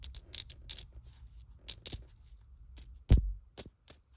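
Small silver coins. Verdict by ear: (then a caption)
Real. Ten small silver Mercury-type dimes (1941 date, winged head on the front, fasces and axe on the back) are dropped or pinged one after another in a sound test, giving a quick series of short, bright, high metallic pings, with a heavier low knock near the three-second mark. All of them ring the way they should, with nothing off, so they pass as genuine silver.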